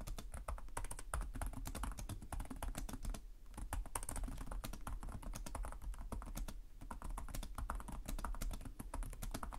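Fingertips type steadily on the plastic keys of a black laptop keyboard, producing a dense run of quick, dry clicks with bright edges. A steady low rumble sits underneath, and the typing eases briefly around the third and seventh seconds before continuing.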